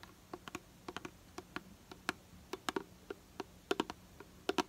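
Long nails tap and scratch the side of a hollow purple plastic hair product bottle held in the hand. About twenty sharp, dry clicks arrive in uneven bursts, each decaying almost instantly and carrying a hollow midrange tone with bright edges over a faint steady hum.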